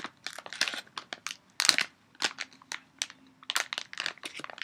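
An empty or nearly empty red and brown printed foil-lined Dove plastic candy bag is held up and crumpled and crinkled with both hands. Quick bursts of sharp, bright crackling rise and fall in uneven clusters, mostly high-pitched with almost no low end. Each crinkle cuts off dry, with no ring.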